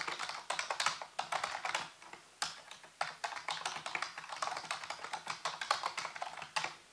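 A full-size black plastic keyboard with hollow keys on a white base is typed on with fingertips in rapid key taps. Bright, hollow plastic clicks come in quick uneven bursts, each dying away almost at once, with a brief pause near the two-second mark before the typing resumes.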